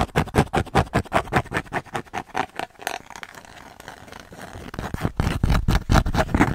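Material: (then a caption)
Cork. Long nails tap fast on a thin, flat, solid square cork coaster with a red dot, held in the hands near the mic. Rapid, dull, low-heavy taps with almost no ring give way to a softer, steady scratching in the middle, then quick, louder taps return at the end.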